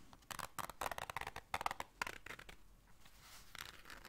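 Long nails scratch and scrape a small, hollow black zipper case and its zipper. Quick bursts of dry, bright scratching and clicky strokes come in the first two and a half seconds, then ease into a softer, steady rasp with a last brighter scrape near the end.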